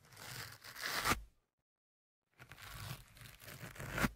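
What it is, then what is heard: Foam microphone windscreen. A thin metal pick and fingertips scratch and rub the black foam windscreen on the left microphone, making close, crackly, tearing-like scraping and rustling across a broad range up into bright highs. Two stretches of scratching are split by about a second of silence, and each ends in a louder, sharp scrape.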